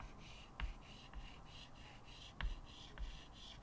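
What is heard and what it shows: A stick of white chalk, held in the fingertips, rubs and scratches long strokes across a small square chalkboard with a wooden frame lying flat on a table. A steady, dry, bright scratching hiss pulses with each stroke. Four short, louder taps with a low thud stand out where the chalk meets the board.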